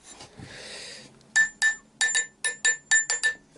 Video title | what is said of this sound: PETITE OUTILS POUR LE BUSCHCRAFT SAUVé DE LA DECHETERIE | Ça, ça sonne bien aussi.